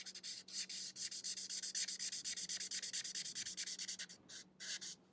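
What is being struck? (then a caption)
Felt-tip marker on paper sketchbook page. The thick felt tip of a marker rubs back and forth across an open paper sketchbook lying flat and partly colored, making steady coloring strokes. About three dozen quick, bright, hissy scratches follow in a rapid rhythm over a faint low hum. Near the end the strokes slow into a few spaced rubs before fading.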